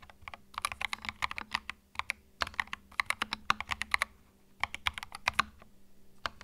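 Fingertips type steadily on a compact white mechanical keyboard with plastic keycaps, producing about 35 sharp, bright clacks in quick bursts with brief pauses between them. Each keystroke is short and dry with almost no ring, centred in the mid range with plenty of high click and very little low end.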